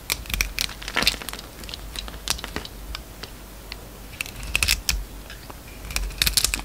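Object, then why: Bar of soap. A metal utility knife blade peels long slices off a hand-held oval solid soap bar with a purple-streaked, yellow interior. The cuts make crisp, bright crinkling and crackling scrapes in bursts, with sharp ticks over a faint, steady low hum.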